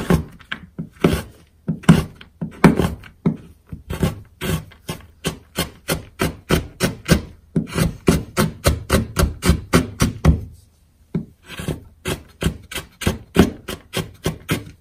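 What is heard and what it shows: A metal kitchen knife chops a row of solid, dry colored calcium-type school chalk sticks (red, green, blue, purple and yellow) into small chunks on a wooden cutting board, with the crumbs piling up. Rapid repeated downward strokes give short dull knocks with a gritty, crumbly scrape, in a steady rhythm broken by a brief pause near the middle.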